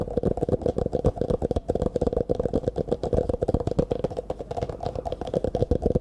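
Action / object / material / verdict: tap / clear plastic cup / plastic / none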